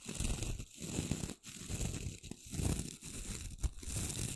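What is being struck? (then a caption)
Wooden brush with stiff bristles. Long nails flick and strum the tips of the short, pale, stiff bristles on a small flat brush with a light wooden handle, held above the mic. The result is a dense, rough, scratchy rasping, weighted toward low frequencies with a thin bright hiss, coming in repeated swells separated by brief dips in level.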